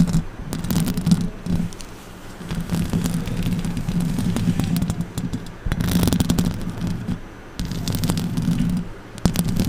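Long orange acrylic nails scratch and tap the top and front of the hollow metal mesh grille of a silver condenser microphone. The close contact gives a dense, boomy, low rumbling texture, with a droning tone near 172 Hz and sharp bright clicks from the taps. It swells and dips in continuous bursts.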